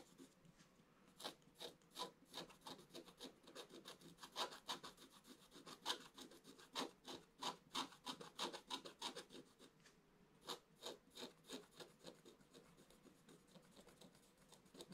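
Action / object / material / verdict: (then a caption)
scrape / coated scratch-art paper scratched with a wooden stylus / coated paper / none. A wooden stylus scratches short strokes near the bottom of a black-coated scratch-art page lying in a flat book. The quiet, dry, bright scraping strokes come in quick, uneven bursts of about three per second, with a brief pause near the ten-second mark before they resume.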